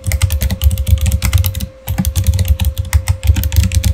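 Fingertips of both hands type steadily on a full-size Razer Fire gaming keyboard with plastic keycaps, mechanical switches and an RGB backlight. The result is a fast, even stream of short, dull clacks with a deep thump beneath each press and a brief pause near the middle, over a faint steady hum.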